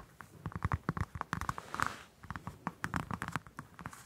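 A whole orange held in one hand has its peel scratched and tapped with long acrylic nails. It makes a rapid, uneven series of short, dry clicks and soft scrapes with a muffled low thump under them and a faint mid-range ring of about 1.4 kHz. Each tap dies away almost instantly.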